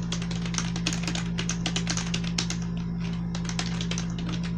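A black plastic membrane computer keyboard with blue accents rests on a bed and is typed on with fingertips and long nails. Rapid, soft, bright clicking taps run continuously over a steady low hum.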